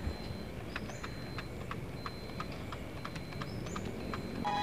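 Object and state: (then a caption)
Loose helmet visor mechanism rattling. A full-face RSV FFC21 helmet is shaken, and its plastic mono visor mechanism, which is very loose, rattles. About eleven short, light clicks and clacks come through over a low steady background hum. The noise is a fault: it comes from the visor mechanism being too loose.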